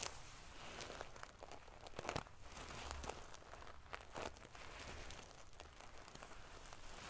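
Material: Metal sequins.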